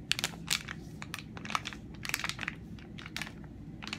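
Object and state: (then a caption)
Soft plastic wipes packet crinkling. A hand-sized, flexible Simple cleansing facial wipes pack made of soft plastic film and full of wipes is tapped and scratched with long nails and fingertips and squeezed. It gives bright, sharp crinkles and quick crisp clicks over a faint low hum. The sounds are short, dry and closely spaced.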